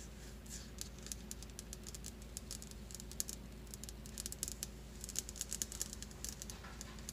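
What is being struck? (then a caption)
Stone countertop. Long glitter nails tap and scratch quickly across a solid white stone countertop. Rapid, sharp, bright clicks and brief scratches come in an uneven patter, each dying away almost instantly, over a steady low hum.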